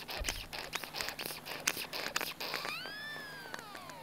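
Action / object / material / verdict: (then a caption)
tap / small plastic bottle / plastic / none. A small hollow pink plastic bottle with a pointed cap is handled, tapped and shaken with the fingers, producing a quick, irregular run of bright, crisp plastic clicks and rattles. Toward the end, a thin tonal squeak rises and then slowly glides downward, sustaining over a soft background hiss.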